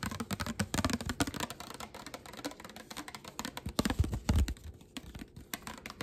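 A flat, hand-sized, solid pink glitter glass plate is tapped and scratched on its top and underside with long black nails. The result is a quick, uneven stream of short, dry clicking taps mixed with soft scratchy rasps, with a few heavier, duller knocks near the middle.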